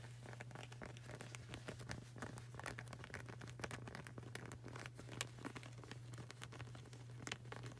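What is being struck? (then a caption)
Rubber flip-flop sole. Fingertips and nails tap rapidly on the solid, textured grey rubber sole of a flip-flop sandal. The result is a quiet stream of short, dry clicks and light scratchy patter over a steady low hum.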